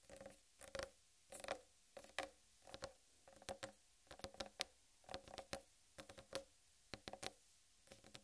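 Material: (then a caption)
Watermelon rind. A large, whole, uncut watermelon with a green striped rind is tapped with long red-painted nails. Quick clusters of bright, clicky taps carry a hollow, mid-pitched tone. Each tap dies away almost instantly between bursts.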